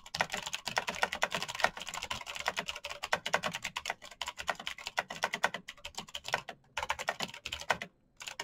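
Fingertips type fast on a black backlit mechanical keyboard with plastic keycaps and clicky switches. The result is a dense, rapid stream of sharp, bright clicks with almost no low end. The typing pauses briefly near the end.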